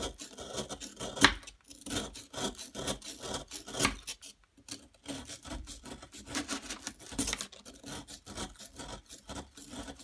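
A metal knife-like tool scrapes the end of a solid yellow plaster excavation block, forming a pile of powder. Repeated short, dry, rasping scrapes sound bright and gritty, with little low end and no ring between strokes.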